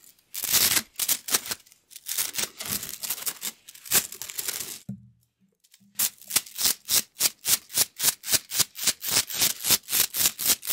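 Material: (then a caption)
Plastic. A rainbow plastic slinky coil spring toy is compressed, stretched and let fall between hands, its plastic coils clicking against each other. Bursts of bright, crisp clattering fill the first five seconds, followed by a short near-silent gap with a faint low hum. A fast, steady run of sharp, high clicks then continues to the end.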